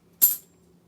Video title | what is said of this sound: Saturday night box hunt and auction | that sound being just off a little bit, and realizing it wasn't a silver coin